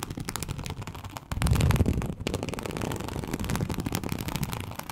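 Long acrylic nails scratch a large, flat, teal snakeskin-embossed leather sheet, producing dense, rapid, crackling scrapes with a deep, thumpy low end. The scratching swells louder from about 1.3 to 2 seconds, dips briefly near 2.2 seconds, then continues steadily to the end.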